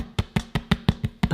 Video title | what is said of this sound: Can You Make Bread in an Air Fryer? | sounds hollow and it's a blooming good crust on it.